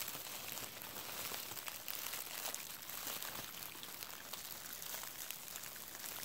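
A large clear plastic bubble wrap sheet with hollow air bubbles is held in both hands and crinkled and squeezed with the fingertips. A steady, quiet, bright crinkling runs throughout, dotted with small sharp crackles and little low-end weight.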